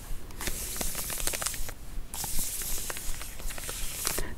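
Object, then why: Plastic snack wrapper. A Cadbury Plant chocolate bar in plastic flow wrap is held in one hand while the long nails of the other hand scratch and crinkle the wrapper. Bright, hissy crinkling comes in uneven bursts, dotted with sharp ticks and scratches, with a brief quieter pause partway through before the crinkling resumes.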